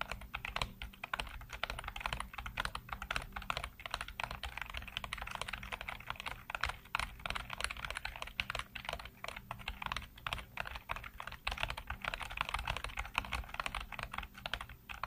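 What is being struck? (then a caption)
Plastic computer keyboard. Fingertips type rapidly on a black plastic backlit computer keyboard, producing a steady stream of short, bright clicks and taps with little ring. A faint low hum sits underneath the typing throughout.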